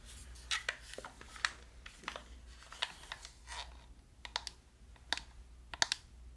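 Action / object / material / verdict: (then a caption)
tap / plastic game controller / plastic / none. Fingertips and nails click the buttons and tap the body of a hollow black plastic gamepad. A quiet, irregular series of short, sharp, bright clicks and light taps dies away almost instantly, over a faint low steady hum.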